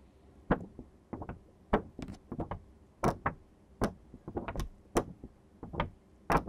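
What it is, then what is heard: Sheet of construction paper being flexed and rustled. A thin sheet of green construction paper, held by its edges, is bent, flexed and rustled by hands. Quiet, irregular bursts of crisp crackling and sharp snaps sound as the card paper buckles, each fading almost at once, with brief hushed pauses between them.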